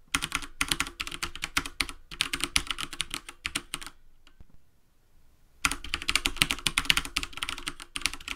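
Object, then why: Plastic computer keyboard. Both hands type rapidly with bare fingertips and short nails on a full-size black plastic keyboard with a hollow housing, resting on a wooden desk. Fast, bright, clicky key taps run in dense bursts, stop for about a second and a half of near silence, then the typing resumes.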